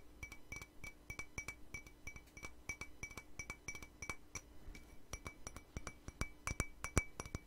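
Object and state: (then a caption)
Empty ceramic mug. Long nails tap quickly on an empty, hollow white patterned ceramic mug. The result is a dense, uneven run of sharp, bright clinks that each die away almost at once, over a faint low hum.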